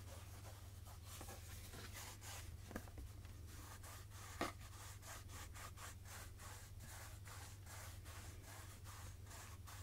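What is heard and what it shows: Fingertips rub and scratch the surface of a medium translucent plastic jojoba oil jug with a pump, mostly full of oil and held in both hands. Soft, steady brushing and scratching strokes sweep up into high frequencies over a constant low hum, with a couple of sharper clicks standing out near the middle.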